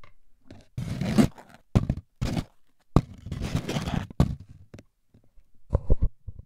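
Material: Cardboard.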